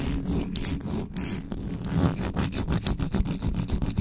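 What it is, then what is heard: Metal microphone grille being scratched. Fingertips and nails scratch fast across the top of the metal mesh grille of an uncovered black USB microphone. The result is a dense run of rough, rapid scraping strokes with a heavy low rumble and brief bursts of bright, hissy texture.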